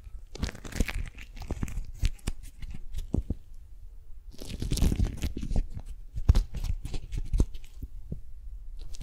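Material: Waxed cotton.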